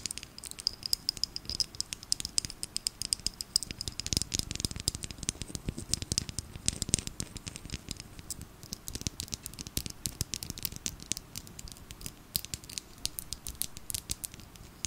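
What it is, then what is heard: Plastic glitter bottle. A small clear plastic bottle filled with purple glitter liquid is tapped with long nails and turned in the hands. Dense, rapid, bright clicks and taps continue throughout over a slight rattle. The sound stays quiet, with each tap dying away instantly.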